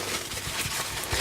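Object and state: Nothing is struck.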